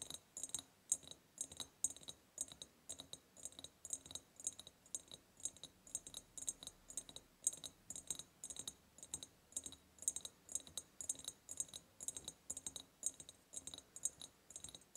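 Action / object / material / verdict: tap / ribbed glass jar / glass / none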